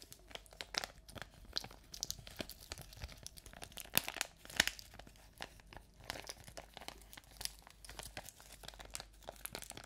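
A small, empty, thin clear plastic crinkly pouch is held close to the microphone and crumpled and rubbed with the fingers of both hands. It makes a steady stream of bright, dry crinkles and crackles. Two sharper snaps stand out near the four and four-and-a-half second marks.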